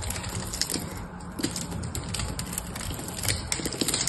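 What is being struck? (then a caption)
Bar of cream soap cut with a metal knife. A hand-held, dry, solid cream soap bar, partly wrapped in foil, is cut and shaved with a metal knife. A steady run of crisp, bright scraping and crackling bursts plays over a low, rumbling bed, with short sharp clicks as the blade bites into the bar.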